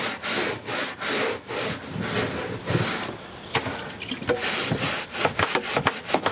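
A hand-held bristle brush is scrubbed with repeated strokes along a beige woven carpet runner on the floor. The first half is steady, broadband rasping strokes. After a brief quieter stretch, shorter, sharper scrubbing strokes follow with a bright, scratchy texture.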